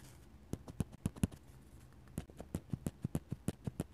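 A steel dip pen nib scratches lines and taps stipple dots on a flat paper sketchbook page. About twenty short, dry, low taps with brief bright ticks come in two runs: a sparse group in the first second and a steadier rhythm after a quiet pause. Each tap dies away almost instantly over a soft background hiss.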